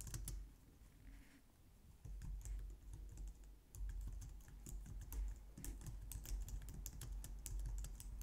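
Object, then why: Plastic computer keyboard. Both hands type on a white plastic low-profile wireless keyboard with long nails and fingertips. The result is a steady run of quick, light plastic key clicks and taps, with bright clicky edges over a constant low hum, swelling and easing in loose bursts across the clip.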